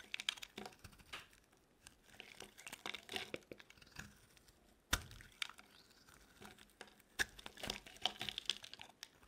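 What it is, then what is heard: Dry bar soap being carved. A metal blade carves chunky shavings from a solid orange bar of dry soap held in the palm. Bright, dry scraping and crackly crunches come in quick bursts, with a few sharp, louder cracks standing out. Each cut stops short with almost no ring.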